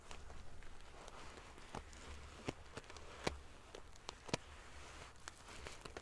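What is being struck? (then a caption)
Padded pillow covered in metal sequins. Fingers and nails brush and ruffle the rows of silver metal sequins on a large padded sequin-fabric pillow. A quiet, steady rustle with a low hum underneath is broken by scattered sharp, bright clicks, each dying away almost instantly.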